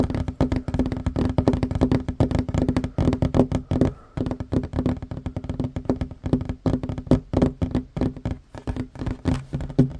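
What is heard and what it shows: Hands fast-tap a flat, solid wooden tabletop with short fingernails and fingertips, making a rapid, continuous stream of dull, short knocks. Each tap is low and woody with a steady hollow tone near 250 Hz and dies away almost instantly. There is a brief lull around the four-second mark before the tapping resumes.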